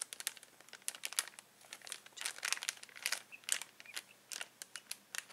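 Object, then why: Plastic bag of latex balloons. Fingers press, squeeze and crinkle a clear plastic bag full of uninflated latex balloons. The result is a quiet, irregular run of short, bright crackles and crinkles with no low end, each snap dying away almost at once.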